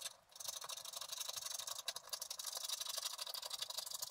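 A wooden stylus scratches across a flat scratch-art card of black wax-coated paper resting on a table, scraping away the black coating to reveal orange and colored foil underneath. The sound is a thin, bright, hissy scratching made of quick, repeated strokes at about four per second. A brief quiet dip comes just after the start and another short lull near the middle.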